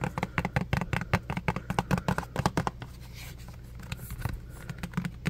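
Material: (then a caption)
Plastic. Fingertips and nails rapidly tap and scratch a small, partly full, clear plastic hand soap bottle with a pump top and an orange label. Dense, dry, clicky taps with bright scratchy edges sound over a steady low hum for about the first three seconds. After that the tapping thins into softer, scattered scratches.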